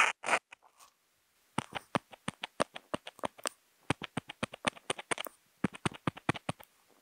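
A Posca marker tip, picked up by a contact mic on the marker, is tapped onto a flat white sheet of Kent paper to make dots, along with a few short strokes. A couple of brief scratchy strokes open the clip, followed after a pause by a quick, steady run of sharp, dry taps with bright clicky tops and very little ring.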